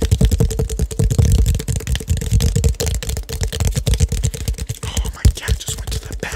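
Fingertips and nails tap rapidly on the dark cap and body of a clear plastic drink bottle with a colourful label, hollow and seemingly holding liquid, held in both hands near the mic. The result is a dense, continuous stream of short, dull, low-heavy thuds that die away almost instantly, with a faint steady tone running underneath.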